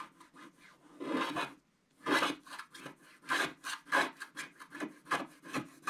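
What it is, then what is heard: Scratch-art card being scratched. A wooden stylus scratches across the coated surface of a flat scratch-art paper card in rapid strokes. Dry, papery rasps come in uneven bursts, bright and gritty with almost no low end, some strokes louder and longer than others.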